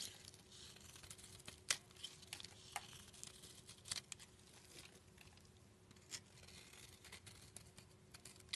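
A utility knife blade scrapes layered shavings off a solid black soap bar held in the palm. The scraping is a soft, bright, continuous hiss broken by sharp clicks and crisp flakes. A faint steady hum sits underneath.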